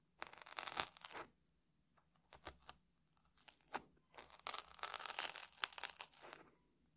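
A small metal tool scratches and picks at the surface of a dry, crunchy round puffed rice cake that sits on top of a stack in a red wrapper, held steady by one hand. The result is quiet bursts of bright, dry crackling and crunching scratches, separated by short silent pauses, with denser, louder scraping toward the end.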